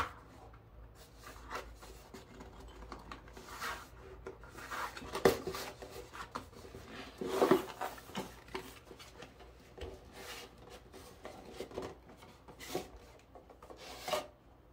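A medium, hollow printed kraft cardboard gift box labeled "Zen Garden Kit" is handled with bare hands and turned over. Its cardboard sleeve slides and rubs against the inner box, making quiet, irregular rasping and scraping sounds with a few sharper taps and rustles throughout.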